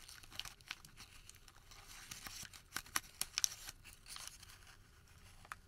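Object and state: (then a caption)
Paper receipt crumpled. A white thermal paper receipt is crumpled, then stretched open between both hands. It gives a quiet, bright, crinkling rustle broken by sharp, irregular crackles and a few louder snaps near the middle, with almost no low end.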